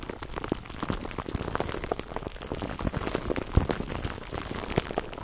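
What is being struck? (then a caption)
Plastic cling film over foam windscreen. Fingertips of both hands rub and squeeze clear plastic cling wrap stretched over a black foam microphone windscreen, close up. A dense, steady crackle of tiny pops and crinkles plays throughout, with a few sharper snaps standing out, each sound dying away almost instantly.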